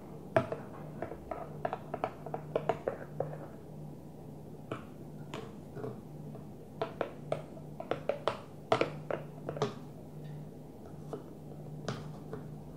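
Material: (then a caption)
Plastic. A Tupperware plastic food container is gently tapped in a quick, irregular series of short, dry clicks. Each tap fades almost at once over a faint steady low hum.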